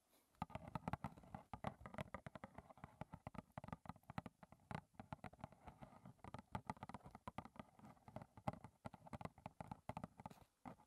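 Long red-painted nails tap rapidly on the front face of a small, closed, hollow rectangular cardboard box of Clipper lime and ginger green tea, which likely holds tea bags and stands upright on a table. The taps come as a fast, uneven stream of dry, short clicks with a hollow, low-heavy thump and almost no ring.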